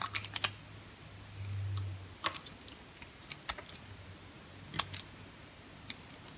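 A small, solid, cream-colored bar of hard soap is held in the hand while a utility-knife blade shaves and cuts flakes from it, dropping them onto a pile of shavings on a granite counter. The sound is a series of sharp, bright, dry clicks and scrapes with almost no ring, separated by short quiet gaps. A faint low hum runs underneath.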